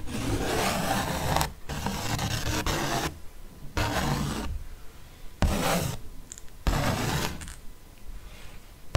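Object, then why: Thick paper art print. A ballpoint pen tip traces and scratches across the same thick paper fox art print, producing bursts of dry, rasping rubbing noise. The bursts are separated by brief pauses, with a low, close scraping texture throughout.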